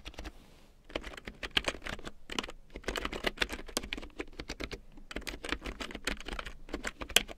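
A full-size large print keyboard with a black plastic frame and big yellow plastic keycaps, lying on faux fur, is typed on with long painted nails and fingertips. After a brief quiet start, a steady run of quick, bright plastic clicks and taps follows, each dying away almost instantly.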